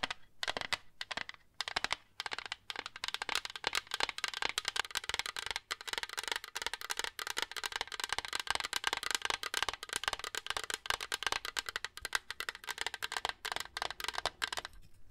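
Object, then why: Plastic water jug tapped with fingernails. Long nails tap rapidly on the front of a large, hollow, frosted purple plastic water jug with a flip lid and handle, held in both hands. The result is a quick, continuous run of bright, clicky taps that die away almost instantly, with very little low end.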